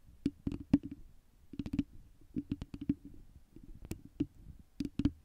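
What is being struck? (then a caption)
Foam microphone windscreen. Long nails of both hands scratch and tap a round foam windscreen on a microphone. The result is an irregular run of soft, muffled taps with a low, hollow thump around 280 Hz, each dying away almost instantly. Faint scratchy rustling fills the gaps, and brief bright clicks come through on the sharper taps.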